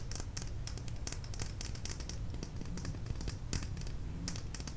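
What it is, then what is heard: Plastic lip gloss tube. Long nails tap quickly along a small, slim plastic lip gloss tube with a beige cap and dark red product inside, moving over both the tube and the cap. Each tap is a short, bright plastic click that dies away almost at once. The taps come in a steady, irregular patter over a low background rumble.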